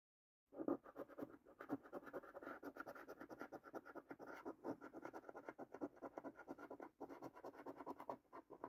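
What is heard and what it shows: A coin scrapes the latex coating off the top strip and panels of a new, thin cardboard paper scratch card held in the hand. After a half-second of silence, quick, dry, rasping strokes run almost continuously in the midrange, with a brief pause near the seven-second mark. The scraping stays quiet throughout, with no ringing after each stroke.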